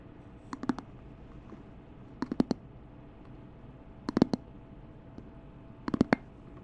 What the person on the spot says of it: 10:34-14:43 Tapping on a wooden candle top, attached to candle base (nice hollow knocking)